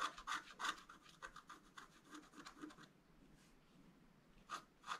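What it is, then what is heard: Scratch art paper board. A wooden stylus scratches lines into a flat black coated scratch art paper sheet, making quick, bright, raspy strokes in a rapid, uneven rhythm. The scratching stops for about a second and a half, then two louder, sharper strokes close the clip.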